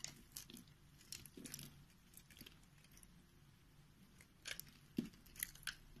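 A solid white bar of soap is held in the hand while a box-cutter blade cuts along its pre-scored grid and slices off chunks. Soft, crisp scraping and crunchy cutting sounds come in short bursts with bright edges and a low, dull body. The bursts are separated by quiet stretches and ring out almost instantly.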